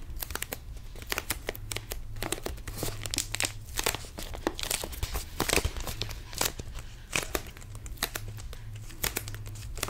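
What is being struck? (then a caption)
Thin plastic water bottle. A small, clear plastic water bottle with a blue label and white cap, hollow and apparently empty, is held in both hands and squeezed and crinkled with the fingers. It produces a dense run of sharp, bright crackles and crinkling pops over a steady low hum. The bursts swell and ease throughout the clip.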